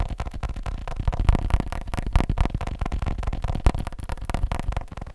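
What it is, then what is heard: Leather phone case tapped. A leather phone case is tapped quickly with fingers, giving a rapid, uneven run of soft, dull taps about four per second. Each tap is a short, muffled low thud that dies away almost at once, with very little bright content.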